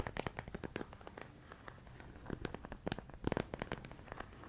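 Fingertips and nails tap and scratch a medium clear plastic storage container full of rice grains. Quick, irregular dry clicks and scrapes follow one another with no ringing, forming a soft crackling patter that grows denser and a little louder near the end.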